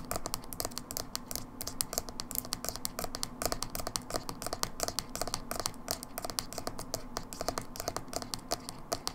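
Long fingernails tap rapidly and continuously on the labeled side of a small, hollow, dark blue plastic Manic Panic hair dye tub held sideways. The tapping makes dense, crisp clicks with a bright, dry edge, some hollow body beneath, and almost no ring after each tap.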